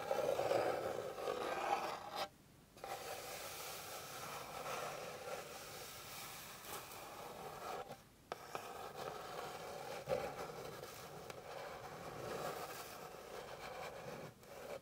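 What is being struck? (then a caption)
Flat wooden board. Long pink nails scratch and rub across the surface of a flat, light, solid wooden board. A steady, dense rasping scrape continues throughout, centred in the mid-range, with brief quiet breaks near 2.5 and 8 seconds before the scratching resumes.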